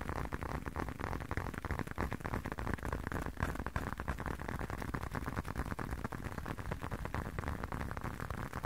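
A hand-sized blue leather long wallet, closed, is tapped rapidly with the fingertips. The result is a dense, steady run of soft, dull, low-heavy taps that die away almost at once, with little brightness.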